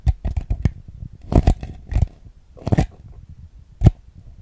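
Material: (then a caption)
Plastic. Fingernails tap the base and ribbed sides of a small, hollow, empty white plastic bowl held upside down. The quick, dry, irregular taps come in loose clusters and die away almost instantly, sounding mostly low and hollow with faint bright clicks. A single sharper tap stands out near the end.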